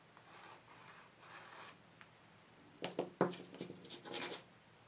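A stick of soft chalk pastel held in the fingers is scratched and rubbed in strokes across a large black paper sketchbook page lying flat on a table. Three soft, hissing rubbing strokes come first, then a quick run of louder, sharper scratchy strokes with bright, gritty edges that stop dry with no ring.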